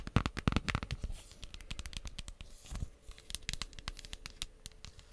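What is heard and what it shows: Long nails tap and scratch the cover of a pink cardboard eyeshadow palette with pressed shadows, shown open and then closed. Quick, dry, uneven taps are loudest in the first second, then settle into softer, crackly scratching and lighter tapping with a dull, low-weighted body and almost no ring.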